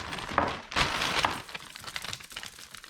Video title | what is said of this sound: And We're Puttin' it on Wax!!! Chain Waxing for Optimizing Drivetrain Efficiency. | this one is like a wind chime there is nothing in that chain